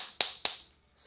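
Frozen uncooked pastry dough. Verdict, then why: Solid. Frozen, shaped mini fried-pastry dough is tapped, giving two sharp, hard clicks with a bright ring. The solid sound shows the pastries are deep-frozen and ready to fry without thawing.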